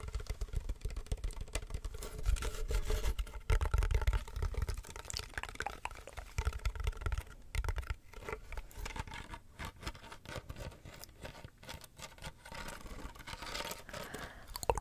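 A medium rectangular hollow box with woven wicker sides and a flat black textured lid is held in the hands and tapped and scratched with fingernails. Quick, irregular dry taps and rustling scrapes carry on throughout, with a low thumpy body and crackly wicker texture. The sound stays soft and close, with no ringing after each tap.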